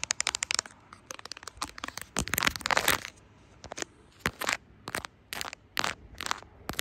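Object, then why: Smartphone in silicone case. Long acrylic nails tap and scratch the camera lens ring and the surface of a smartphone in a brown silicone case with charms. Quick bright clicks come in fast runs, then rougher scratchy bursts, and finally more spaced-out sharp taps with short pauses between them.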